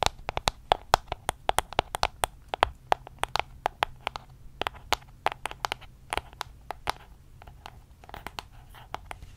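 A small, closed white cardboard product box, likely empty or light, is held in both hands close up and tapped and scratched with long manicured nails. About forty quick, dry taps ring around 770 Hz with bright clicky edges, mixed with soft scratching and a low hum.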